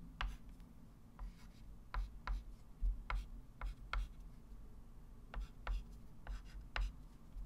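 A white chalk stick writes numbers on a small, solid, wood-framed flat chalkboard, producing ten short, sharp scratch strokes and taps with bright, crisp edges that die away quickly. A steady low hum runs underneath throughout.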